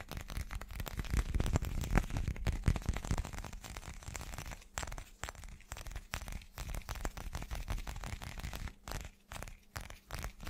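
An irregular, hand-sized solid chunk of translucent teal glass is held up and rapidly tapped with the fingertips and short nails of both hands. The result is a dense, uneven flurry of quick, dry clicks and taps with a heavy low-end thump and very little ring. The tapping is loudest in the first few seconds, then continues in slightly softer bursts.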